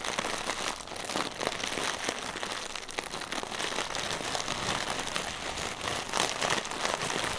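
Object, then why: Inflated plastic air cushion. A single small, clear, inflated plastic air cushion used as packaging filler, hollow and air-filled, is held in both hands and tapped and scratched with short fingernails and fingertips. The result is a steady, dense stream of bright crinkly scratching and quick tapping clicks, with almost no low end and no ringing after each touch.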